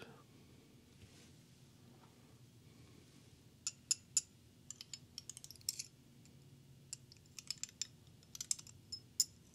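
A small, solid carved onyx stone owl figurine with banded orange, brown and cream colors is held in one hand and tapped with a slim green beaded glass wand. After about three and a half seconds of faint low background hum, a quick, irregular series of sharp, bright clicking taps follows. Each tap cuts off almost instantly with no ring.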